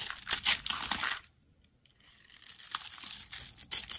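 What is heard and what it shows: A metal utility-knife blade cuts small cubes away from a solid, hand-sized red soap bar that has been pre-scored into a grid. Bright, crisp crunching and tearing scrapes fill the first second, then stop for a short silent pause. Softer crunches follow and build back into sharp, high cutting sounds.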